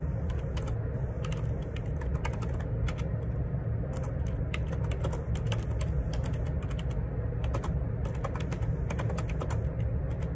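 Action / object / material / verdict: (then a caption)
tap / plastic computer keyboard / plastic / none. Bare fingertips type rapidly on a black Perixx Periboard 612 wireless Bluetooth ergonomic split keyboard, a full-size board with a hollow plastic case and plastic keycaps, resting on a grey desk. Quick, dry plastic clacks with short, bright clicks run continuously over a steady low rumble.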